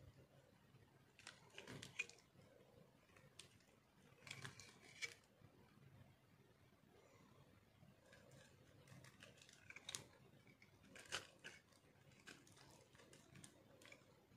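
A metal knife carves and shaves crunchy flakes off a solid green dry soap ball, palm-sized and held in the hand. Bursts of dry, bright scraping and crackling come in short clusters with quiet gaps between them. Each crunch stops almost at once, with no ring.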